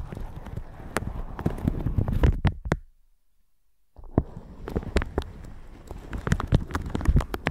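A red silicone bristle brush is brushed over a plastic shower cap stretched over a microphone, making dense, low, crinkly rustles and soft scratchy taps. The brushing pauses into near silence for about a second before resuming with the same close, textured crackle.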